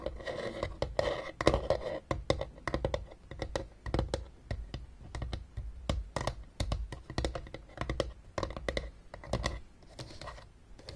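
Long painted nails tap rapidly on the top of a closed blue hard plastic Battleship travel case, a hollow case lying on a table. The quick, dry clicks carry a hollow, low knocking body and die away almost at once. Some taps come in fast runs and others are spaced out across the clip.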